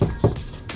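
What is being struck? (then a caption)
Plastic CCTV camera housing. A plastic CCTV camera housing, not vandal proof, is tapped by knuckle or hand for comparison with a metal housing. It gives short, dull, low knocks with almost no ring and little brightness, the hollow thud of plastic rather than metal.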